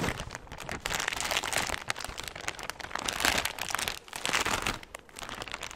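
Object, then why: Thin clear plastic bag. A large, empty, thin clear plastic bag is held against the mic and scrunched and rubbed with both hands. It makes dense, bright crinkling and crackling that swells in bursts and briefly dips quieter around the four- and five-second marks, with little low-end weight.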